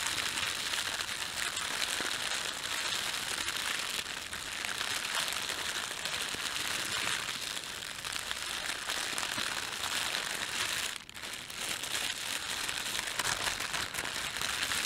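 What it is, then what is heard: Thin plastic bag being crumpled. A red-and-white printed thin plastic bakery bag is crumpled, flattened and stretched at the edges with both hands. The result is a steady, bright crinkling and crackling that runs almost without a break. A brief dip in the noise comes near the eleventh second.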